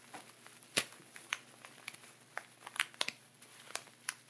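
A clear plastic zip bag lying flat with a layer of sea salt inside, pressed, rubbed and scratched through the plastic by fingertips and nails. Sharp, bright crinkles and gritty crackles come in quick separate bursts over a faint hiss, with almost no low end. Each burst stops almost at once.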